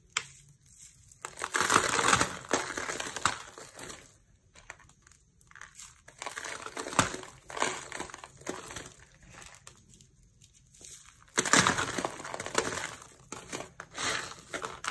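One hand with long nails grabs and crushes pale green dry soap shavings on a purple mat. Repeated bursts of dry, crunchy crackling and crinkling come in waves, with bright, hissy detail and little low end, separated by short quiet pauses.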